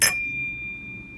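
An antique flint glass piece is simply set down on a counter, giving a single bright contact followed by a clear, high bell-like ring that slowly fades. Even this light set-down makes the flint glass ring audibly.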